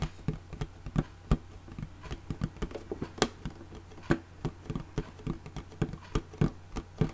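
Long fingernails tap a small, closed, hollow red hard plastic makeup case with a ridged, embossed surface and a metal clasp, held upright. Around twenty quick, dull, low taps land in an uneven patter, each dying away almost instantly.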